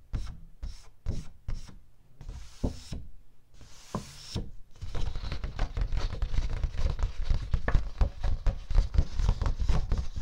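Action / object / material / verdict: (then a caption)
tap / thin cardstock sheet / cardstock / none. Fingertips tap and rub the surface of a single thin, flat, letter-size sheet of light blue cardstock or heavy paper, held upright in both hands close to the microphone. Spaced, soft, papery taps and two longer brushing rubs give way after about five seconds to a rapid, continuous flurry of low, dull tapping.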